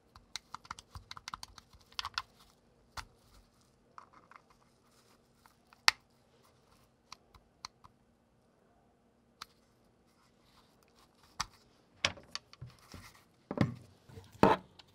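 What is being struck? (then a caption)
Plastic game controller. A dirty, hollow white plastic Xbox wireless controller with a charging cable plugged in, broken with no power and not charging, is held in both hands in black nitrile gloves as the fingertips repeatedly press and click its buttons and thumbsticks. Short, sharp, bright plastic clicks and taps come in irregular bursts over a faint steady low hum. The loudest, rattling clicks come near the end.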